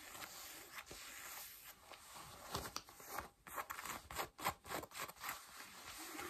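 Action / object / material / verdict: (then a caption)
scrape / denim jeans fabric / denim / none. Long nails scratch blue denim jeans on the thigh and waist, making a soft, steady fabric rasp. It then breaks into quicker, brighter bursts of scratching in an uneven rhythm, with little low end.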